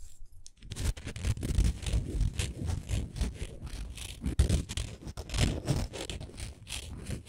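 Long nails scratch and tap across a textured wooden ornament, making a steady run of low, dry scraping strokes broken by quick, short taps. The sound starts near silence and then continues as dense rhythmic rasping with no speech.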